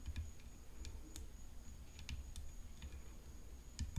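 Long painted fingernails tap the hollow graphite composite frame of a rhinestone-decorated tennis racket, making short, sharp, bright clicks that die away almost at once. The quiet taps come at an uneven pace over a low, steady rumble and a faint, constant high tone.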